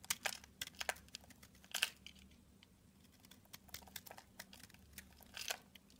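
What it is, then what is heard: Bar of soap being shaved. A red box cutter blade shaves flakes from a solid purple oval bar of soap held in the hand. Soft, bright scraping and crackling bursts come in quick, irregular succession, with a faint low hum between them.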